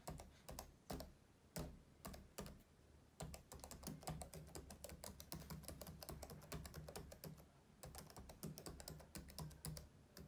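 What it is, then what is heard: Plastic laptop keyboard. Index and middle fingertips rapidly tap the keys of a black plastic laptop keyboard, producing quick runs of crisp clicks with short pauses between bursts. Each tap has a dull low thump beneath a brief bright click that dies away fast.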